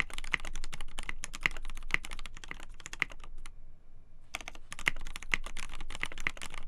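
Fast two-handed typing on a black polycarbonate KBD8x TKL mechanical keyboard with a poly plate, Gateron Black Ink switches and white and black PBT keycaps, fingertips tapping the keys. Dense, short, bright clacks run continuously, with a brief pause near the middle before the typing resumes.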